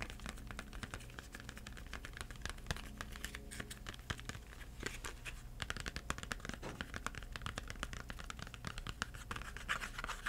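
Fingertips tap and scratch the faces of a small Crayola 8-crayon cardboard box with crayons inside, making a dense, continuous run of quick, dry, papery taps and scratchy rasps. The hits are short with almost no ring, over a steady low hum.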